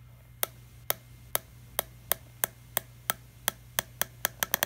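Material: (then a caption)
Plastic. Fingertips tap on a small, empty, hollow clear PET plastic water bottle with a green screw cap, giving 15 short, bright, dry clicks. The taps are evenly spaced at first, then come faster and closer together toward the end, over a faint steady low hum.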